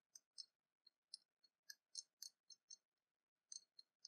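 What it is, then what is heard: Cast metal dragon brooch. A small copper-coloured openwork cast-metal dragon brooch, held in the fingers, is tapped and scratched with long painted nails. Thirteen quiet, irregular, bright clicks ring very briefly and sit almost entirely in the high frequencies, with silence in between.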